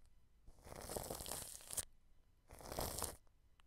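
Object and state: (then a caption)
Cling film brushed over a microphone. A wide paintbrush held in the hand rubs clear plastic cling film stretched over a white dome microphone. Two crinkly, rustling strokes are heard, a longer one and then a shorter one, each a dense, bright, broadband crackle with a soft low rumble beneath. Each stroke stops abruptly into near silence.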